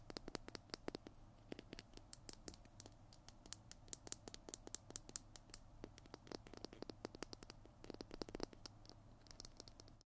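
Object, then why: Plastic glue stick tube. A small Tombow PiT glue stick with a white plastic body and blue cap is held in both hands close to the microphone while fingertips and nails scratch and tap along its plastic tube. The result is a quiet, steady stream of sharp, dry clicks and bright scratchy ticks that stop instantly, over a faint low hum.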